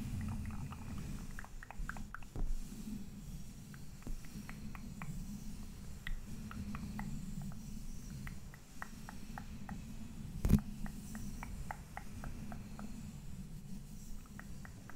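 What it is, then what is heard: Metal microphone grille. Fingertips and nails of both hands tap and scratch the black mesh metal grille of a large condenser microphone. Quick, bright little ticks patter over a steady low rumble. One louder knock lands near the end.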